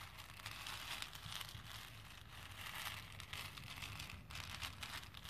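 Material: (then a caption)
Plastic. A hand with painted nails rakes and stirs through a plastic bowl full of small, solid plastic faux pearl beads. The result is a quiet, continuous, bright clicking and rattling with short crisp ticks and a faint low rumble underneath.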